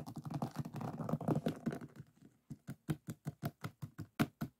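Fingertips and nails scratch and tap across the resin drills of a finished diamond painting on a flat board. The first two seconds are a dense, continuous scratchy patter. It then gives way to a steady series of separate, short, dull taps with a faint bright click on each.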